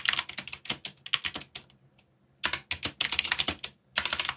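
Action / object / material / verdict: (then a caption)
tap / plastic mechanical keyboard / plastic / none. Fingertips type rapidly on a backlit mechanical keyboard with plastic keycaps, producing a quick run of sharp, bright clicks. The bursts of typing break off into a near-silent pause of about three-quarters of a second, resume, and pause again briefly before the typing starts up once more.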